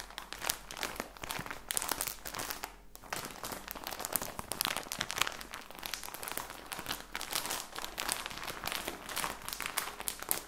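A plastic package of socks is held up while fingers squeeze and crinkle it. The result is a dense, bright crackling and crinkling that runs almost continuously, with a brief lull around three seconds in.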